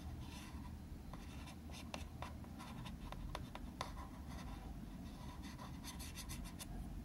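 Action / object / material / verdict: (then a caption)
tap / small plastic box tapped and scratched with a marker tip / plastic / none. The tip of a green felt-tip marker taps and scratches across the lid of a small, hollow, translucent plastic box of green tea floss picks held in one hand. Quiet, light ticks and bright, dry scratching strokes rise over a steady low rumble. Each tap leaves a faint, short-lived ring.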